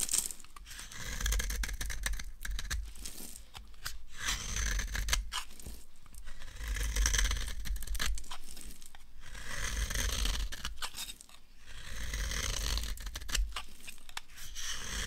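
A solid, translucent amber bar of soap, dry and held in the hand, is scraped and carved with a knife blade into yellow crumbs. Dry, crackly scraping and tearing sounds come in uneven bursts, with bright rasping textures over a low rumble.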